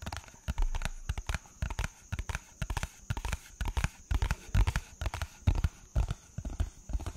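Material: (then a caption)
Paper. A flat, hollow white paper or light card envelope is held in both hands and tapped with fingertips and nails in quick, irregular bursts. Each tap gives a short, dull, low thump with a faint papery click and almost no ring, some taps landing in tight clusters.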